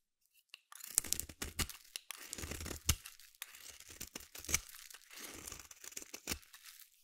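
A small metal blade carves flakes off the end of a palm-sized solid purple bar of soap held in the hand. It makes a series of crisp, bright scraping and crunching strokes, some with a soft low thud, separated by brief pauses.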